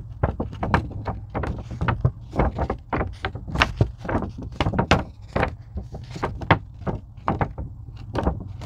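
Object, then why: Thin foam craft sheet. Long pink nails scratch and tap a thin purple-blue craft foam sheet, likely EVA, lying on a table. The result is a rapid, uneven series of dull, low soft thuds mixed with brief scratchy bursts that flick up bright and die away almost instantly.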